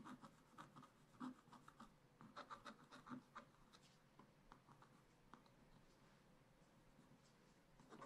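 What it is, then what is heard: Scratch-art paper being scratched. A wooden stylus scratches the coating near the bottom of a black wax-coated scratch-art page in a spiral-bound pad. Quiet, irregular short scraping strokes come in clusters, with a low-mid rasp and a faint whistle-like tone around 1 kHz. The strokes are busier in the first half, then settle into softer, steady scratching.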